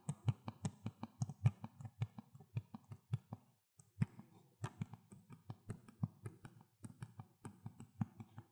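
Fingers tap on the plastic Xbox 360 case of *Need for Speed: Most Wanted*, producing a steady run of quick, crisp, hollow taps. Each tap is a low, dull thud with a faint bright click on top, and it dies away almost instantly. There is a brief pause just before the four-second mark before the tapping resumes.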